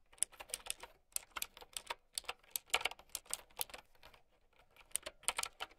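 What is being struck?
Plastic mechanical keyboard.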